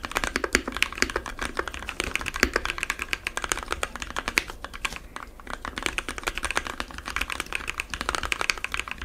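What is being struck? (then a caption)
Plastic mechanical keyboard keys. Fingertips of both hands type rapidly on a compact 60% mechanical keyboard with white, blue and yellow plastic keycaps, lubed Gateron switches and foam inside the case. The result is a dense, steady stream of short, bright, clacky keystrokes that die away almost at once, over a faint low hum.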